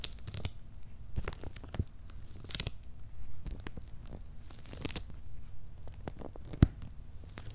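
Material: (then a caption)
Cardboard. Fingernails scratch and fingertips rub over the paper shipping labels on a medium, closed, hollow corrugated cardboard box. Short, dry scratching and papery rasps come in uneven bursts, each with a brief bright edge over a dull, low body. One sharper scrape stands out near the end.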